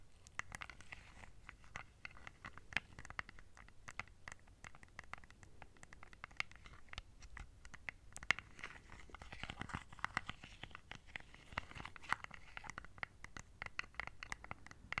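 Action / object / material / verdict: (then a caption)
tap / small plastic remote control with rubber buttons / plastic / none. A small, flat plastic LED remote control with colored rubber buttons, held close to the mic, is tapped and scratched with long nails. The result is a quiet, steady stream of rapid, dry clicks and ticks with bright, scratchy detail, each tap dying away almost instantly.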